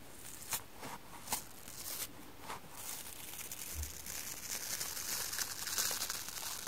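Fingers with long painted nails grip a hand-sized rectangular kitchen sponge of soft yellow polyurethane foam bonded to a green abrasive scour layer and slowly peel and rip the scour layer away from the foam, while a red sponge edge sits untouched nearby. Bright, dry crackling and tearing fills the clip, with a few sharp louder snaps in the first few seconds. It then settles into a steadier, denser crinkling rip that grows slightly louder toward the end.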